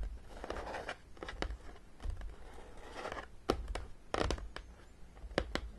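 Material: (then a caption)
Cardboard. Long painted nails tap and scratch the top edge and front of a long, flat, hollow printed cardboard Battleship (Zeeslag) game box lying on a table. Sharp, dry clicks stand out over a soft, papery scratching rustle, with heavy low rumble underneath.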